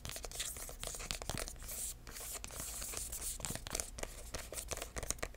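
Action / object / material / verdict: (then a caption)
tap / paper-covered cardboard box / cardboard / none. Fingertips tap and scratch the side and edge of a red embossed, paper-covered cardboard box with metal corner caps. Quick, dry taps mix with bright, papery scratching and crinkling over a low, steady hum. The taps die away almost instantly.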